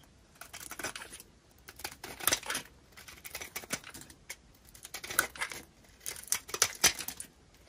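A small metal blade scrapes and cuts the surface of a solid, palm-sized pink dry soap bar held in one hand, shaving off crunchy flakes from a face scored in a grid of lines while other bars and shavings lie untouched nearby. Dry, bright crunching and scraping comes in irregular bursts with short pauses between them. The sound has almost no low end and stops dead after each cut.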